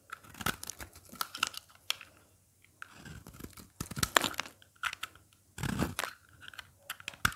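A craft blade scrapes and cracks brittle flakes and chips off a dry, solid red soap bar held in the hand. Dry, crunchy scraping and crackling come in uneven bursts with short quiet gaps, bright snaps riding over a tearing texture.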